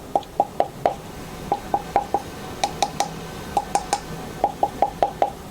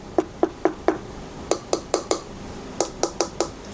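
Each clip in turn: First: wooden headphone ear cup. Second: thin plastic headphone ear cup.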